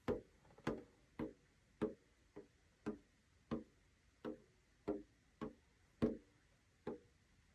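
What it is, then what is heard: Metal tin with plastic window lid. A small flat rectangular metal tin with a blue snowflake-printed rim and a clear plastic window in its lid, hollow with paper items inside, lies on a notebook on a wooden desk and is tapped on the plastic window with the fingertips of both hands (short nails). Thirteen short, dry, hollow taps sound at an uneven pace, each with a low-mid body and a brief click that dies away almost at once.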